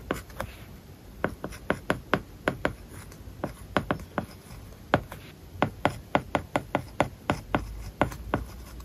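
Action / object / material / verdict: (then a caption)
scrape / plastic stylus on a tablet screen with matte plastic film / plastic film / none. A plastic stylus writes words on an iPad lying flat on a solid flat surface, its glass screen covered with a matte plastic paper-like film. The result is a quiet series of short, dry tip taps and brief scratching strokes, each clicking sharply and fading almost at once, over a faint steady background hiss.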